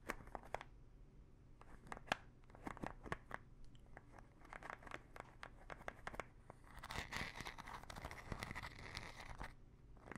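Long nails scratch the ridged teal cap of a small plastic pill bottle full of pills, making a quiet run of sharp, dry clicks and scrapes. Partway through, the scratching turns into a denser, brighter rasp before easing back to scattered ticks.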